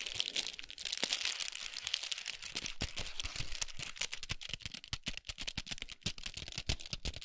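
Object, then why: Chocolate bar in foil and paper wrapper. Long pointed nails rapidly tap and scratch a large foil-wrapped chocolate bar with a paper sleeve resting on a towel. The result is a dense stream of bright, crinkly scratching broken by many quick, crisp taps on the foil and paper wrapper.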